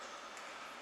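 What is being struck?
Nothing is struck.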